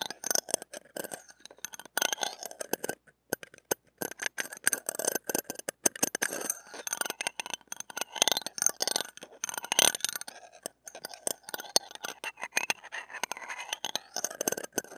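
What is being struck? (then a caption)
Stainless steel ear pick on a steel wire-mesh microphone grille. A stainless steel ear pick is dragged and scraped over the top of a small, hollow steel wire-mesh mini microphone grille. The result is a dense stream of dry, scratchy clicks and rasps, bright and high-heavy, with no low end. The level stays loud and jittery throughout.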